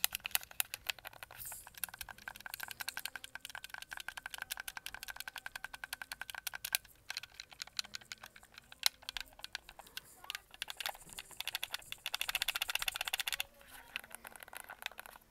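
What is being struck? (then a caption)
Plastic game controller. Fingertips and nails tap rapidly on the back panel of a red-backed white hollow plastic Xbox controller and press its buttons. The result is a dense stream of quick, dry, bright plastic clicks and taps with almost no ring and very little low end, continuing throughout.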